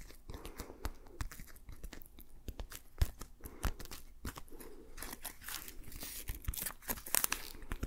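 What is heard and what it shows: A patterned green rubber dish glove is worn on a hand while the gloved fingers are rubbed and tapped together. The result is a quiet, dense stream of squeaky, crinkly rubbing broken by many sharp little taps. The sound grows brighter and hissier toward the end.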